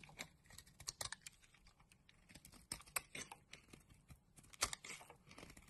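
A utility knife blade scrapes curls off a solid pink rectangular bar of soap held in the palm. Quiet, bright, crisp scratches and crackles follow in quick irregular bursts, with a few louder sharp cuts and almost no low end.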